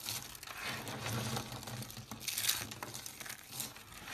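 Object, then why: Small dried soap tubes. Hands with long dark nails dig through a pile of small, hollow, dried-soap tubes in pastel pink, green, blue and cream, grabbing them and crushing them between the fingers. The result is a continuous, crunchy crumbling with bright, crisp crackles and a few louder snaps, over a faint low hum.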